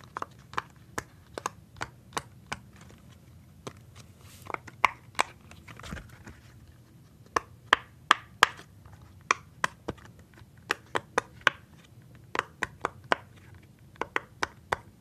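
A small, flat rainbow-and-orange silicone pop-it fidget toy with hollow bubbles, held in one hand, is pressed rapidly by fingertips in a tapping motion. About thirty short, dry pops sound in quick, uneven bursts, each centred around 1.2 kHz with a bright click on top and almost no ring. A faint low background hum sits underneath.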